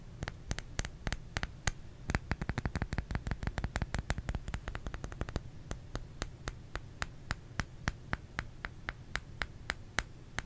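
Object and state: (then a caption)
Bar of soap being tapped. Fingers tap on a solid bar of soap, making short, dry clicks with a soft low thump beneath each one. The taps start at a moderate pace, speed into a dense, rapid flurry in the middle, then settle into slower, evenly spaced taps over a faint steady background hiss.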